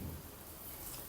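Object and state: Nothing is struck.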